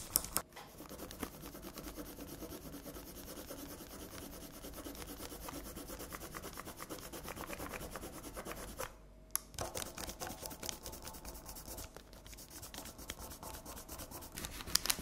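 Long red acrylic nails scratch and rub across a flat sheet of paper colored with pink pencil, lying on a table. A dense, bright, papery scratching runs steadily, breaks off briefly around the nine-second mark, then resumes with sharper, choppier strokes to the end.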